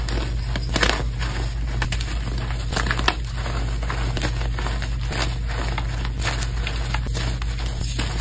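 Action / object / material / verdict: scrape / dyed gym chalk chunks and powder / chalk / none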